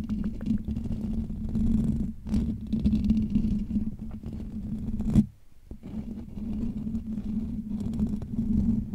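Fingertips of both hands scratch the hollow metal wire-mesh dome grille of a Blue Yeti USB microphone, producing a dense, low, rumbling scratch with a steady hum-like tone around 215 Hz. The scratching runs almost continuously and drops out briefly just past the five-second mark before picking up again.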